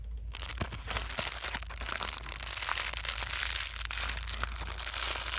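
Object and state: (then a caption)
Plastic bubble wrap being crumpled. A folded plastic bubble wrap sheet held in the hands is twisted and crumpled with the fingertips, producing continuous bright crinkling with sharp crackles scattered throughout. A steady low hum sits underneath the dense, high-heavy rustling for the whole clip.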